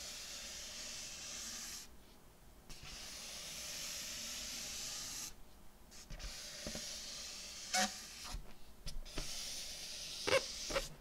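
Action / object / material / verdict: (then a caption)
scrape / inflated metallic latex balloon / latex / none. Fingers rub and slide over the surface of a hollow, inflated purple metallic latex balloon. A steady bright, hissing friction sound comes in long strokes broken by brief quiet gaps. Near the end, a few sharper squeaky bursts stand out.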